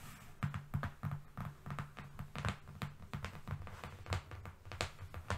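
A long, flat brown cardboard strip, a thin, solid sheet, lies on a fluffy rug and is tapped with the long fingernails of both hands, moving along its length. The result is a rapid, uneven run of soft, dull, low thumps with short, crisp clicks on top, each dying away almost instantly.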